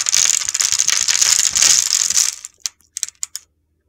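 A utility knife blade scrapes across a solid, grid-scored oval red soap bar, making a dense, crisp, high-pitched crunching and gritty scratching for about two and a half seconds. Small cubes crumble off, followed by a handful of separate light ticks as pieces fall before it goes quiet.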